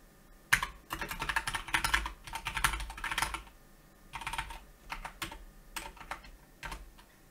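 Fingertips of both hands type steadily on a Keychron K2 plastic mechanical keyboard with grey and black plastic keycaps, resting on a white desk. Quick, bright, clacky keystrokes come in dense bursts with a short pause midway. The typing then continues in sparser runs of crisp, dry taps that stop almost instantly.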